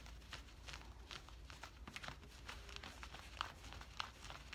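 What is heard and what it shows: Fingertips and nails scratch and rub the woven cotton fabric of worn camouflage cargo pants near the pocket. Quiet, irregular scratchy rasps and brushing strokes come in quick succession, with brighter sharp scrapes over a faint low steady hum.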